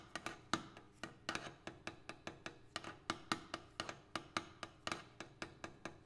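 A double pane glass window is tapped in an irregular, quick rhythm of 26 short, sharp taps. Each tap gives a bright click with a hollow glassy tone that dies away almost at once.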